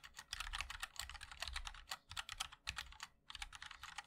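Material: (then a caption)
Plastic. Fingertips of both hands type continuously on a compact 60% MOD-L mechanical keyboard with a black case, white and black plastic keycaps and linear switches. The result is a fast, dense stream of short, bright clacks centered around 2.5 kHz, with a soft low thud under each keystroke. There is a brief lull just after the three-second mark before the typing resumes.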